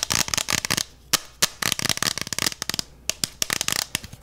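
Fingertips and nails rapidly tap and scratch the outer wall of a clear, beer-mug-sized plastic freezer mug with a handle and gel filling inside its double wall. The result is bursts of crisp, bright clicks and scratchy rasps with almost no low end, separated by brief quiet pauses.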